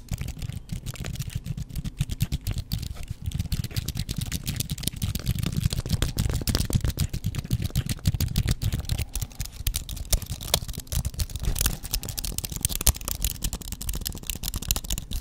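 A slim white wireless aluminum-and-plastic computer keyboard, with plastic keys on a thin, solid metal base, is held up in both hands in front of the microphone while fingertips press and type on the keys. Rapid, dense typing produces short, dry clicks and taps with a strong low thump and little ring, the pace shifting between bursts throughout.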